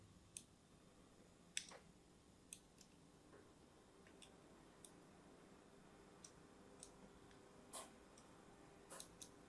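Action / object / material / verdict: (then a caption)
scrape / solid bar soap scraped with a blade tip / soap / none. A blade tip scores the surface of a purple-and-white striped solid bar of soap held in the hand. About a dozen sharp, bright scratching clicks and ticks land at irregular intervals over a quiet, steady low hiss, each one brief and dry.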